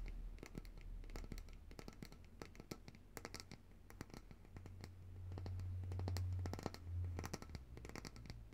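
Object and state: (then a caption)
Glass jar full of solid coconut oil. Long nails tap and scratch the glass sides and label of a large glass jar of coconut oil, full of white solid oil and held upright in both hands. Quick, irregular clicks and brief scratchy strokes run throughout, each dying away almost instantly. A steady low hum near 100 Hz sits underneath and swells louder in the second half.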